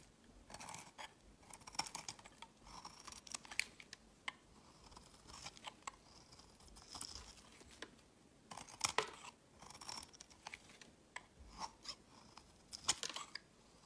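A rectangular solid yellow soap bar with dark specks, held in the hand, is shaved with a utility knife blade, scraping and carving. Quiet bursts of crisp, bright, dry scraping strokes come in short clusters with brief pauses, each shaving sound cutting off with almost no ring.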